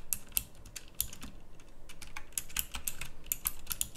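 Two hands type steadily on a pink backlit plastic mechanical typewriter-style keyboard with round plastic keycaps. It makes a quick run of crisp, bright clicks with short, dry decays over a low, soft rumble.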